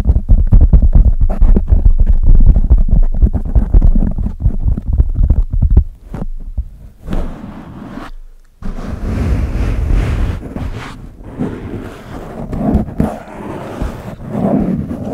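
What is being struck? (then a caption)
Foam microphone windscreen. Fingertips and nails of both hands scratch and rub a large, soft black foam windscreen fitted over the head of a condenser microphone with a decorated body. For the first six seconds, rapid, closely spaced scratches produce dense, boomy low-end thumps. After brief pauses, softer and steadier rubbing takes over, with a breathy hiss that reaches into the high range.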